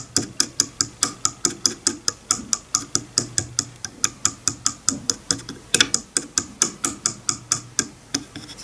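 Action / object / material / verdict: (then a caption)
flick / wooden comb on a bamboo board / wood / none. The teeth of a wide-tooth wooden comb lying on a bamboo board are flicked with a fingernail, giving a fast, somewhat uneven run of about 38 sharp, bright clicks. Each click dies away almost instantly with a faint low knock underneath, and the flicks soften near the end.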